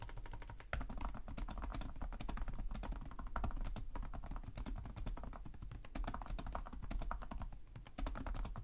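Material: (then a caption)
Plastic. Both hands type rapidly with short-nailed fingertips on the plastic chiclet keys of a black laptop resting on a desk. A steady, dense stream of soft clicky key taps runs throughout, each tap short with a low thump and little ring.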